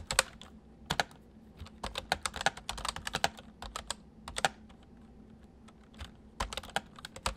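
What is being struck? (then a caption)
Plastic mechanical keyboard. Fingertips of both hands type on a white full-size MSI plastic mechanical keyboard with hollow keys. Quick, sharp, bright clicks come in uneven bursts with short pauses between them. Each keystroke dies away almost instantly over a faint steady low hum.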